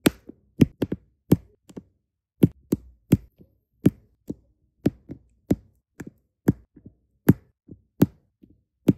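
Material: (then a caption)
Resin. Small solid resin diamond painting drills are pressed onto an adhesive canvas with a plastic drill pen tip, giving a steady series of light, dry taps. Each tap is short and soft, with a dull low body and almost no ring, separated by brief silences.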